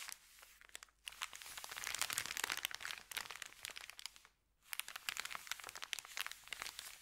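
Fingertips rub and press a thin, empty, crumpled white Subway paper bag, making dense, bright crinkling with sharp crackles. The crinkling runs almost continuously, with brief pauses near one second and around four and a half seconds.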